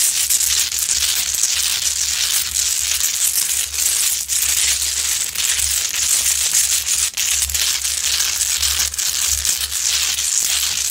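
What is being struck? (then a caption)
Large rock-salt lamp. A large, solid Himalayan rock-salt lamp glowing orange has its rough sides scratched and clawed by long acrylic nails. The result is a steady, dense, bright gritty scraping with a crushing, crinkling texture and almost no low end. A faint low hum runs underneath.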